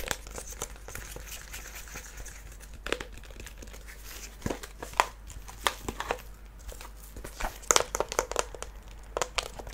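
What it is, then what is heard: Faux-leather small wooden chest. A small hollow wooden treasure-chest box with a dark red faux-leather surface, metal studs and a latch is held in both hands and tapped and scratched with fingertips and nails. Soft, dry crinkly scratching runs throughout, broken by short, sharp taps that die away at once.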